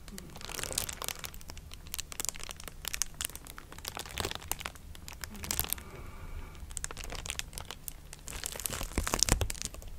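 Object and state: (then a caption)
Plastic bubble wrap. A clear plastic bubble wrap sheet, held in both hands near the mic, is crinkled and scratched with long nails. Dense, bright crackles and crisp scratching come in uneven bursts over a steady low rumble, with a brief quieter stretch just past the middle.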